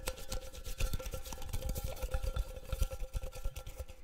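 A small, round, hollow metal tin is held up and tapped rapidly with the fingernails. The result is a dense, continuous patter of quick, dull taps with a heavy low-end thump. A faint, steady metallic ring sits near 520 Hz and around 1.3 kHz beneath the short, fast-decaying clicks.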